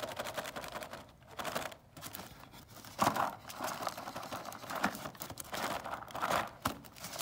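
Fingertips and nails scratch and tap on a closed, printed cardboard gingerbread cookie kit box resting on a table. The result is a continuous dry, papery scratching and crinkling with sharp taps cutting through, centered in the midrange with bright edges and almost no low end. The sound swells and fades in short bursts.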